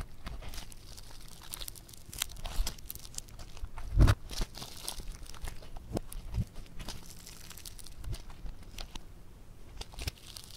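A lump of soft, bead-textured yellow foam clay is lifted and squeezed between the fingers, giving off a dense run of crunchy, crackling pops. One louder crunch stands out near the middle before the crackling settles back to a quieter, steady fizz.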